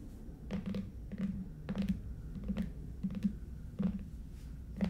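Fingernails tap the ends of a long, red, lidded, hollow Stuhrling cardboard watch box covered in coated paper, then long nails tap across its lid. The result is a string of soft, hollow, irregular taps with a low, papery thud and very little ring.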